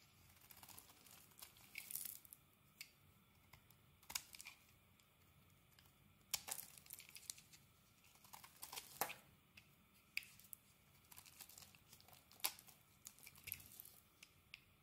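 A utility blade shaves thin curls off a solid green soap bar with a yellow outer layer, held in a hand with long painted nails. Quiet, bright, crisp scraping and crackling cuts come in short bursts, with soft tearing textures between strokes.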